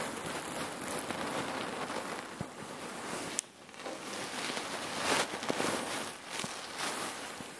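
Hands gather and squeeze a bulging section of a red patterned cotton neck warmer pillow filled with cherry pits. The pits rustle and shift in a dense, grainy crackle with little low end and bright, sharp clicks. Two louder snaps stand out above the steady rustle.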